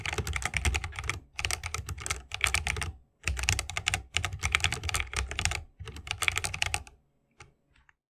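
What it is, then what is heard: Mechanical keyboard typing. A 60% mechanical keyboard with a bamboo wood case, plastic keycaps and tactile switches is typed rapidly with the fingertips of both hands. Bursts of quick, bright clacks with a low thock underneath are separated by short pauses. A few isolated taps close out the clip.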